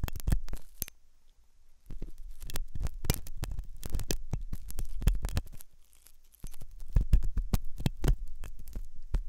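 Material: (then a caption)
Silicone. A metal dental pick scrapes inside the hollow ear canal of a white, soft silicone ear on a binaural microphone, making close, muffled, low scratching and thumping sounds. The scraping comes in irregular, rapid bursts with brief quiet gaps near the start and middle.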